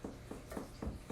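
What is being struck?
Nothing is struck.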